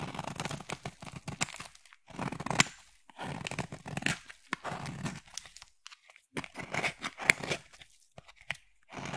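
A solid black bar of soap is scraped and carved with a metal utility knife blade, and shavings crumble off. Bursts of dry, crunchy scraping and crackling come in irregular bursts separated by short pauses, with a bright, gritty texture.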